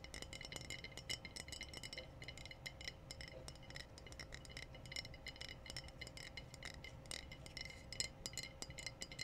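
Glass bottles are tapped in a quick, steady run of light, bright clinks and small rattles. The taps are short with almost no ring, over a faint, constant low hum and hiss.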